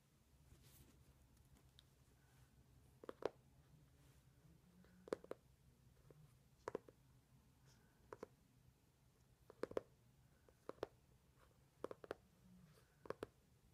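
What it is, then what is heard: Hardcover book tapped with fingertips. Fingertips tap and rub across the glossy paper cover of a closed, solid, medium-sized hardcover book printed "My Secret," lying on a satin cloth. Short, dry, quiet clicks come in small pairs and clusters, with faint rubbing and a low steady hum in between.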